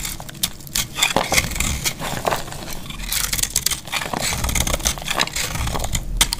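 A solid, very dry yellow soap bar held in the hand is scraped and shaved with a metal box-cutter blade, and crumbly flakes fall onto a grey cloth. The sound is a dense run of bright, dry crackling scrapes in quick uneven bursts, with a faint low rumble underneath.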